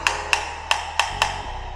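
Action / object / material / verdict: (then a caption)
tap / ceramic floor tile tapped with a key / ceramic / hollow. A key taps a hollow ceramic floor tile five times, and each strike gives a short, bright, clacking knock that fades almost at once. The hollow sound marks the tile as a defect to flag and report to the developer.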